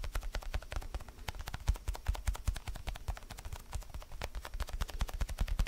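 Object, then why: Foam stress ball. Fingertips and nails tap rapidly across the surface of a palm-sized orange foam basketball stress ball. The taps come as a fast, uneven patter of soft, dull thuds, each with a short crisp click on top, that die away almost at once.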